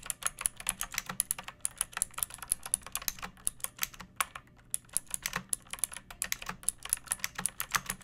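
Fingertips with long painted nails type on a pink plastic mechanical keyboard with round keycaps and a hollow case, resting on a wooden surface. Quick, steady keystrokes produce sharp, bright clacks that die away almost instantly, with a brief pause midway.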